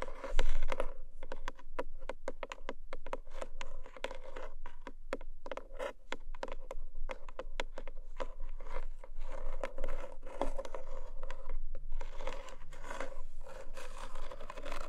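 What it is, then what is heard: Cardboard gift box. Long manicured nails of both hands scratch and tap the top of one long, narrow black cardboard gift box with a textured paper surface. The box is lidded, probably hollow with unknown contents, and lies on a fluffy blanket. Dense, rapid scratching and crisp tapping run at a steady level throughout, over a faint low hum.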